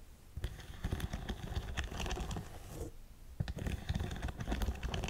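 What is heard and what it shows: Long nails tap and scratch across an empty black studded faux suede boot. Dull, low-heavy taps mix with soft scratchy rustling in a busy, uneven patter. There is a brief lull just before the three-second mark, then the tapping picks back up.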